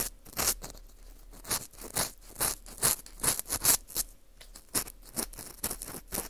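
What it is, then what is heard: Dried wheat gluten ring scraped with an earpick. An orange plastic earpick scrapes inside the hole of a porous dried wheat gluten ring (fu) held in gloved hands. It makes quick, dry, bright scratching strokes in an uneven rhythm of about two per second, each ending abruptly with no ring.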